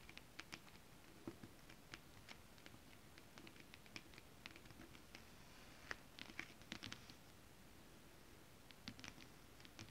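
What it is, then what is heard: Holographic scale-print fabric, tapped and scratched. Long acrylic nails tap and scratch on flat holographic mermaid scale fabric with a scale print. Quiet, crisp, bright clicks come in loose, uneven bursts over a faint scratchy hiss. Each tap dies away almost instantly.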